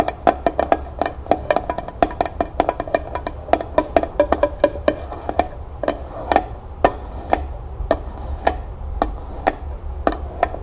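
Long nails rapidly tap the flat bottom of a small, empty tin pail turned upside down on a table. Dozens of quick, dry, bright clicks each carry a brief metallic tone around 670 Hz that dies almost instantly. The taps come densely at first, then grow more spaced out after the midpoint.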